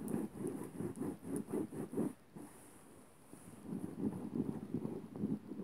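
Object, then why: Cotton fabric bedsheet. Fingertips and nails scratch and rub a floral-print cotton bedsheet lying flat, making quick, soft, low scratchy strokes. The strokes come in a rapid run, stop for about a second of near silence, then resume. A faint, high hiss sits under the whole clip.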